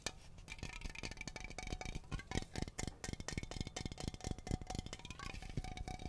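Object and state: Aluminum aerosol can.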